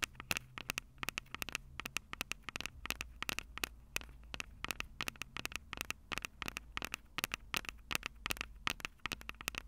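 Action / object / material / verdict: tap / plastic and metal handheld audio recorder / plastic / none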